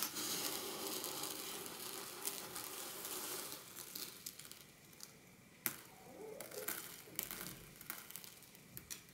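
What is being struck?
Small quartz pebbles and gravel in a glass dish.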